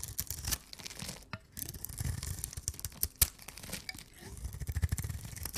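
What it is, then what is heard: Dry soap bar. A rounded rectangular, solid pink dry soap bar held in the hands is scraped and cut along its surface with a knife blade. Dry, crackling scrapes and crisp, short snapping cuts with a bright high edge repeat over a low rumbling base. A louder sharp crack stands out near the middle.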